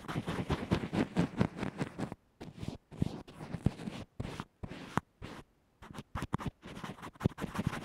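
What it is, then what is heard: Fabric bandage-covered earphone mic being brushed. A small earphone microphone covered with a textured fabric band-aid sits on a table and is stroked and scratched with the tip of a small black makeup brush. Dense, muffled, low-heavy scratching fills the first two seconds, then breaks into short brushy strokes separated by brief silences.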